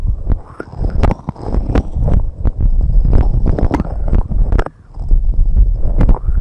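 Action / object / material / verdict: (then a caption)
tap / silicone rubber microphone ear covers / silicone rubber / none. Long red nails tap and scratch the white silicone rubber ear covers of a binaural microphone with fast fingertip and nail tapping. The result is a dense stream of muffled, bass-heavy thumps and soft rubbery scrapes, with a few sharp bright clicks from the nails.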